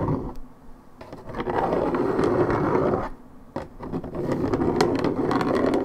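Long red nails scratch the top surface of a hollow Minute Maid orange juice carton made of coated paperboard. A dense, rough scratching builds in two long stretches, split by a brief quiet gap, with a warm, papery rasp that is mostly low-mid and has little bright edge.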